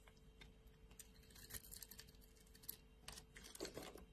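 A metal blade shaves thin slices off a solid light blue bar of soap. The result is quiet, dry, crisp scraping with many short bright ticks and clicks and no ring, over a faint steady hum.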